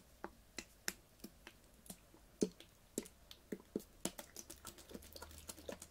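A clear ribbed PET water bottle with a blue cap, full of water, is tapped rapidly with long fingernails. The quiet, dry clicks have a hollow mid-range thump near 420 Hz and bright ticking edges. They die away almost instantly, and their irregular rhythm grows denser toward the end.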